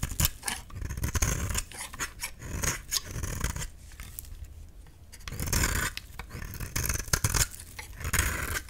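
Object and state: Dry soap bar being shaved.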